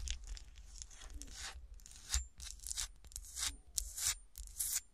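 Long nails and fingertips scratch the sides of a small, solid, textured glass golf shoe ornament in frosted and cut glass, standing upright on a table. Irregular bursts of bright, dry scratching and rasping come in quick strokes over a steady low hum.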